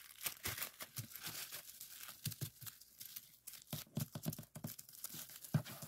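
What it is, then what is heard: Plastic bubble wrap being popped. Fingertips press and pop the bubbles on a clear plastic bubble wrap strip lying on a table, sliding along the sheet between presses. Quiet, steady crinkling and crackling runs throughout, broken by many short, sharp pops with bright snaps and soft low thumps. The loudest pop lands near the end.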